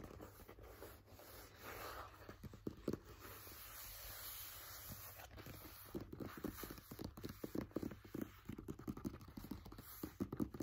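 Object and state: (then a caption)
Paperback book pages. The paper pages of an open paperback book are flipped and rubbed with the fingers. Quiet, soft papery rustling and brushing are broken by many short, crisp flicks and light taps. The activity grows busier and more clustered toward the end.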